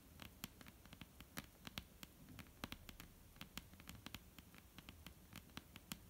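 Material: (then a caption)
Wood. Long, almond-shaped painted nails tap quickly and irregularly on a flat, solid, dark-brown wooden tabletop. The taps are soft, dry clicks with bright tips and no ring, over a faint low hum.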